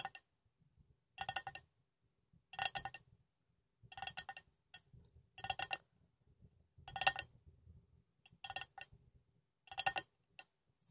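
A metal cup containing water is tapped in short clustered bursts about every one to one and a half seconds. Each burst gives quick, bright, high-pitched metallic clicks with a very short ring. Faint low rustling is heard between the bursts.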